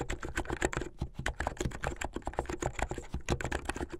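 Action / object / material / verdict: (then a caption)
tap / plastic mechanical keyboard / plastic / none. Fingertips with medium-length painted nails type fast on a plastic mechanical keyboard with white and blue plastic keycaps. A rapid, uneven stream of short, dry clacks is heard, each with a low, solid thock and a faint bright click that stops almost instantly.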